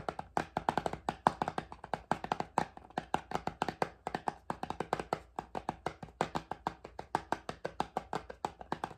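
A small, closed red and white cardboard box of face pads is held up and tapped quickly with long fingernails. The result is a steady stream of short, dry, hollow clicks, each with a mid-pitched knock near 900 Hz and almost no ring.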